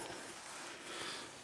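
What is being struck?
Nothing is struck.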